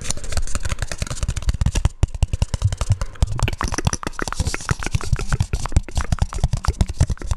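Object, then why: Round hollow plastic lid. A round, hollow, palm-sized black plastic lid is held in both hands and tapped and scratched with fingertips and nails. A rapid, steady stream of short, hollow, low thumps, each dying away almost at once, is mixed with faint bright scratching.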